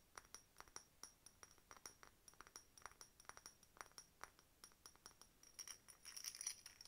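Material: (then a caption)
Glass. An empty, hollow, faceted clear glass decorative bottle with a glass bird stopper and a key charm is held in one hand and tapped with long nails. The result is a steady series of quiet, short, bright clinks with a high glassy ring that dies almost at once. Near the end the taps speed up into a louder, denser flurry.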